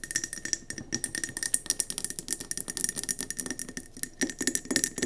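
Long nails tap fast on the sides of a round, speckled gold mercury glass candle jar, filled with wax and sitting on the table. The taps come as a rapid, uneven stream of sharp, bright clicks with a faint high glassy ring that dies away almost instantly.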